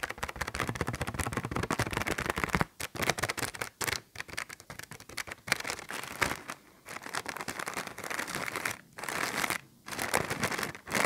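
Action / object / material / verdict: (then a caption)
scrape / thin plastic bag / plastic / none. A small, thin, empty clear plastic bag is held in both hands while fingertips crumple and crinkle it. The result is a dense run of crisp, bright crackles and rustles with a few brief quiet gaps.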